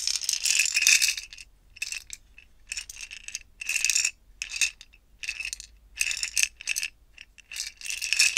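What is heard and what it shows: A small stack of five clear plastic screw-together jars, partly filled with small silver-gold metal beads, is held horizontally and shaken between both hands with long painted nails. The beads rattle inside in bright, crisp bursts of clicking separated by short pauses, with a faint steady ringing near 2.5 kHz and almost no low end.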